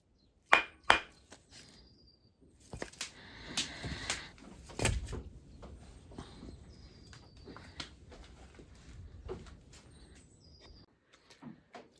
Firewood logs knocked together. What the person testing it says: the sound when you are knocking these two bits of firewood together is a kind of sharp, high-pitched tone